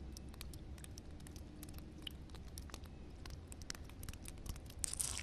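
Long red nails scratch and rub across solid, flat concrete ground covered with water. Quiet, dense scratching is heard as many sharp, bright ticks over a steady low rumble, with a louder, brighter rasp near the end.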